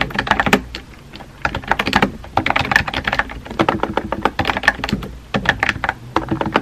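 Fingertips with painted nails type rapidly on a compact pink plastic mechanical keyboard with a hollow body and round white-and-pink typewriter-style keycaps, resting on a desk. Quick bursts of short, hollow clacks ring with a bright tone around 1.8 kHz and die away almost instantly. They come in fast runs, with brief pauses near one second and again just past five seconds.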